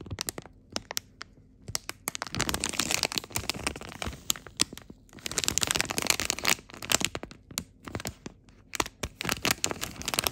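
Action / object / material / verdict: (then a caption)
scrape / plastic film packaging bag / plastic film / none. Fingertips squeeze and crinkle a glossy blue plastic film bag printed with icons, with a memory foam insole inside. Sharp, bright crackles and snaps come in quick bursts, with denser stretches of crinkling in between and brief quiet pauses.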